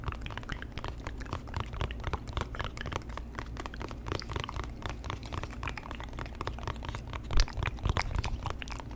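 A small, hollow white cardboard box is held in front of a microphone and tapped and scratched with the fingertips. It makes a dense, steady stream of quick, soft, hollow taps and crinkly scratches over a low, constant hum. A few louder taps stand out near the end.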